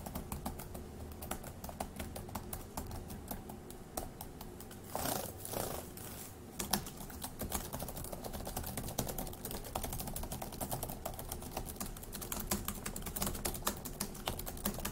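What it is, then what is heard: Plastic laptop keyboard. Fingertips tap the plastic keys of a dark grey laptop keyboard, starting one-handed and then with both hands typing. A steady stream of quick, dry plastic clicks continues throughout, broken by a brief broadband rushing burst around the five-to-six-and-a-half-second mark.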